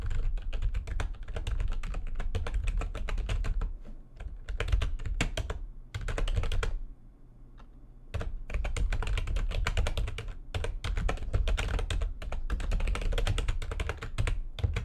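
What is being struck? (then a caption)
Plastic computer keyboard. Fast typing with long nails and fingertips on a full-size plastic computer keyboard with white backlighting and a hollow housing produces a dense stream of sharp, hollow clicks and clacks. Brief pauses fall around the four- and seven-second marks, with a steady low rumble underneath.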